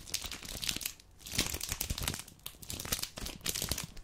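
A full red dark chocolate bar package with a plastic-paper wrapper is crinkled and scratched along its edges with long painted nails. Dense, bright crackling and scratching come in bursts over about four seconds, with brief quieter gaps in between.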